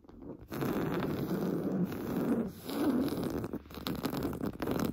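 Short painted fingernails scratch rapidly at the top of a large, soft, stuffed beige woven-fabric sofa cushion. The result is a dense, continuous, muffled scratching texture, mostly low and warm. It starts after a brief quiet moment, dips once midway, and grows more uneven toward the end.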